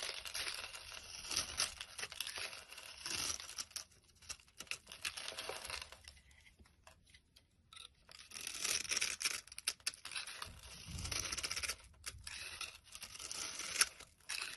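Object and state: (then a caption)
Bar of soap being scraped. A solid pink rectangular soap bar with a scored grid surface, held in the hand, is scraped with a utility blade as crumbs fall away. Bright, dry, crackly scraping and crumbling runs in quick bursts, with a quieter pause in the middle before the scraping picks back up.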